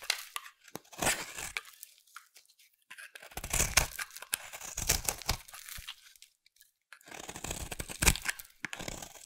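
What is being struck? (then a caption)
Solid bar of soap cut with a knife blade. A solid dark brown bar of soap, held in the hand, is shaved with a utility knife blade. It makes crisp, bright scraping and crumbly tearing sounds that come in dense bursts, with short quiet pauses between strokes.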